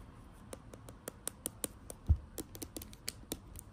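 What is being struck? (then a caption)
Plastic cosmetic tube. Long acrylic nails tap on a filled plastic foundation tube, making about seventeen quick, dry clicks with bright tops and almost no ring. One duller, heavier knock lands about midway through, over a quiet low background.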